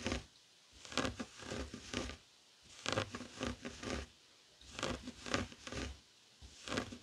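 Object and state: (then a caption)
Woven fabric coaster. Fingertips and short nails scratch a flat, heart-shaped woven tapestry fabric coaster lying on a wooden table. The result is bursts of dry, rough, scratchy rustling in uneven strokes, with brief quiet gaps between the bursts.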